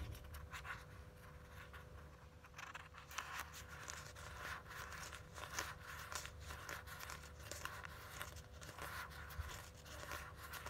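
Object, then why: Small cardboard eyeshadow palette. Long fingernails tap and scratch across the front of a small, hollow, printed cardboard Pretty Vulgar eyeshadow palette. The result is a quiet, uneven stream of dry clicks and scratchy rasps over a steady low rumble.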